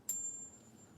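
A non-silver metal coin is struck once in a ping test. It gives a single high, thin ping that fades within about half a second, and its short, weak ring is the wrong tone for silver, which would give a long, resonating ping.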